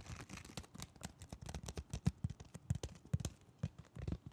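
A Digimon blister toy package, a cardboard card with a plastic bubble, is held up and turned while fingertips tap the card face and its edge. The result is a quick, irregular series of soft, dull, low-pitched taps that stop short with no ring, along with faint rustling between them.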